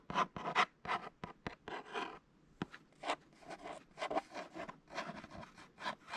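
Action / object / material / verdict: scrape / thin kraft paperboard box / cardboard / none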